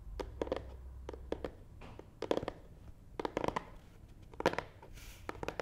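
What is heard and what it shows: Nail tips scratch and tap the front side of a long, hollow black matte cardboard box resting on a table. Quick, dry taps with a hollow midrange knock come in uneven clusters, mixed with brief papery scratching bursts and a faint low hum early on. Each tap dies away almost instantly.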